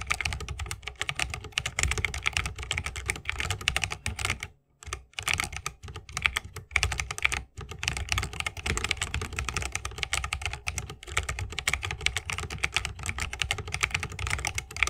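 Fingertips of both hands type fast on a 60% mechanical keyboard with plastic keycaps on Holy Panda tactile switches, set in a solid bamboo wooden case with RGB lighting and resting on a wrist rest. A dense, steady stream of crisp, bright, short clacks carries a low thock underneath, broken only by brief pauses near 4.7 and 7.5 seconds.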